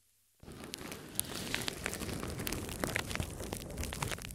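A large, thin sheet of clear plastic film is draped over a microphone on a tripod. Two hands with long red nails scratch, press and crinkle the film, likely touching the covered mic. After a brief silence, a dense, continuous crinkling and rustling begins, with sharp bright crackles over a rumbling low-end thump from handling.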